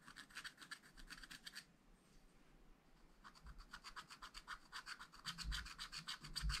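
A wooden stylus scratches and rubs across a black coated scratch-art paper page in a spiral pad, producing a quick series of bright, dry scraping strokes. The strokes pause briefly near the middle, then resume and grow louder toward the end, with a low rumble underneath.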